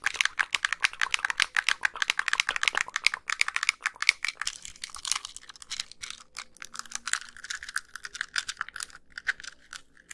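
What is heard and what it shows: Long pink nails tap the casing and press the buttons of a small white hollow plastic handheld game console held up close. The result is a rapid, continuous stream of dry, bright plastic clicks and taps centered around 2 kHz, with almost no low end and no ring after each hit.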